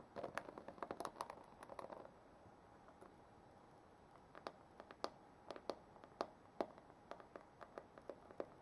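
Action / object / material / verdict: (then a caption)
tap / plastic paddle hairbrush / plastic / none. Long manicured nails tap and scratch the back and handle of a black plastic paddle hairbrush with a hollow body, held in the hand. A dense flurry of quick clicks and scratches lasts about two seconds, then after a near-silent pause come separate, sharp tapping clicks with a hollow plastic tone around 650 Hz. Each click dies away almost instantly, and the sound stays quiet throughout.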